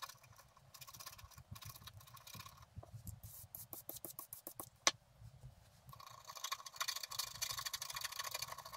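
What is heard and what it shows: A wooden stylus scratches the grass area near the bottom edge of a flat scratch-art paper card in repeated strokes. The sound is a bright, dry scratching, with a run of short, separate strokes in the middle and one sharp click near the five-second mark. It then turns into denser, steadier scraping toward the end.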